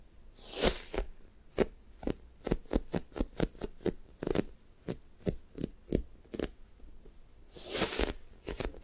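Long-nailed fingertips on both hands press, tap and drag across the top of a solid, soft, sticky-coated light-blue foam toast squishy toy. Quick, sharp sticky taps and clicks follow one another with short pauses. Longer, bright, hissing drags come near the start and again near the end.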